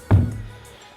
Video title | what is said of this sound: Abandoned WW2 Lavernock Gun Battery Full Explore | do you hear that it's hollow underneath it is hollow underneath